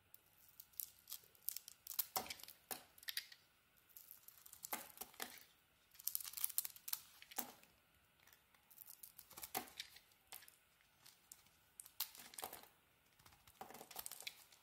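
A metal blade carves a solid blue Lux soap bar with a cream core, held in hand, into curling shavings. Quiet bursts of crisp, bright scraping and crackling come in clusters of short strokes, separated by brief near-silent pauses, with almost no low end.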